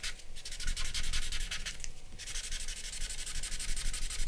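A grey paper blending stump is rubbed back and forth over charcoal shading on a large sheet of drawing paper, which lies on a black board on a wooden desk. Quick, steady strokes make a dry, bright, scratchy hiss, easing slightly around the middle before picking up again with low background rumble underneath.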